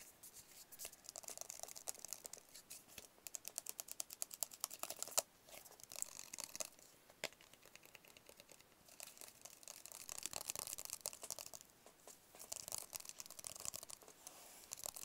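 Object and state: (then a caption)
Cardboard phone box tapped with fingertips and nails. Fingertips and nails tap rapidly on a small, hollow, white rigid paperboard phone box held close. The taps are quick, dry and bright clicks with almost no low end, coming in dense bursts with a brief pause near the middle, and each one dies away almost instantly.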